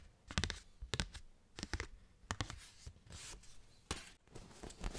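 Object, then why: Thin cardstock postcard. A thin cardstock paper postcard is tapped and scratched with fingernails, then waved at the end. Quick, dry taps that die away almost instantly alternate with bright, papery scratching. The clip closes in a soft fluttering rush as the card is waved.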